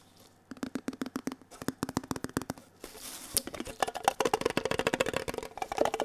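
Bare and gloved fingertips tap quickly on the lid and sides of a small, hollow, red printed metal Kellogg's tin box held close to the mic. The taps are short, dry clicks with a hollow tinny tone. About halfway through, a soft rustling hiss comes in, and the tapping grows denser, louder and brighter.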